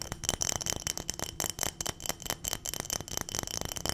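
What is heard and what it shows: Long nails tap rapidly on a clear glass mason-style jar full of small dried round berries or beads, and the jar is shaken so the contents rattle. The quick, bright clicks carry a thin high ring near 3 kHz over a dense, continuous rattle.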